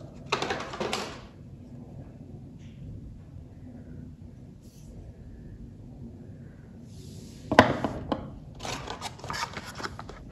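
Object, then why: Bar of soap tapped with fingernails. A solid, unwrapped, hand-sized light blue bar of soap, held in one hand, is tapped and scratched by long orange-painted fingernails. Bursts of bright, dry scratching and clicking come near the start and again toward the end, with a sharp tap standing out among the later ones. The stretch in between is quiet and low.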